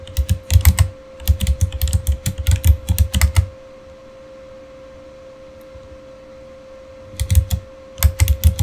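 Fingertips type steadily on a backlit Razer Fire mechanical keyboard with plastic keycaps, producing deep, rapid plastic clacks in quick bursts for about three and a half seconds. The typing stops for a quiet pause of several seconds, leaving only a faint steady tone, then resumes in short bursts near the end.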